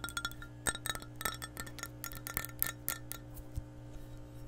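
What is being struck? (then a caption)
Empty glass measuring cup. Long nails tap the wall and rim of an empty, hollow, clear glass measuring cup in a quick, uneven series. Each tap gives a bright, glassy clink that dies away almost at once, over a steady low hum.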